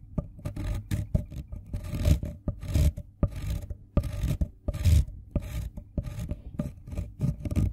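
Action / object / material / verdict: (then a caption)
scrape / wooden colored pencil on steel file / wood, steel / none. A hand-held green wooden colored pencil tip is filed back and forth on a fine-toothed steel file, piling up green pigment dust. Repeated short rasping strokes alternate with sharp clicks as the pencil catches and shifts, the sound heavy and low in tone.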